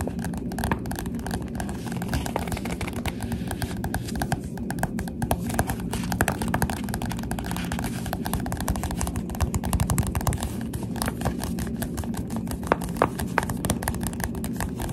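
A Goosebumps paperback book with a glossy cover is tapped on its cover with the finger pads of both hands. The result is a steady, rapid stream of soft, dull, low-heavy taps that die away almost instantly.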